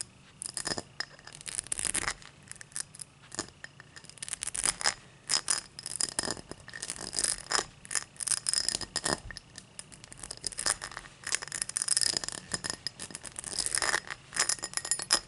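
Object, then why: Cut crystal highball glass. Fingertips and long nails tap and scratch a tall, empty cut-crystal highball glass lying on a towel. The result is a dense run of bright, sharp clicks and scratchy strokes with almost no low end. Each tap dies away almost instantly, with only a faint glassy ring.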